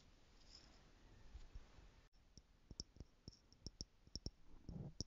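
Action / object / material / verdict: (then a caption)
tap / stacked clear plastic jars partly filled with glitter / plastic / none. Long manicured nails tap the top lid of a tower of small clear plastic stackable jars, screwed together, held in one hand and partly filled with loose gold glitter or jewels. After about two seconds of soft low rustling, about ten short, dry, clicky taps follow at an uneven pace, each stopping almost instantly.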